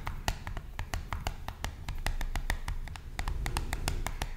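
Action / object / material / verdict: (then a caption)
tap / small printed cardboard box / cardboard / none. Long fingernails tap rapidly on the surface of a small, hollow, blue printed cardboard box. The result is a quick, steady stream of short, dry clicks with bright edges over a low, hollow thump, each tap dying away almost at once.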